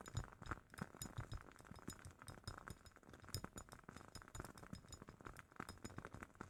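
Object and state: Glass candle jar.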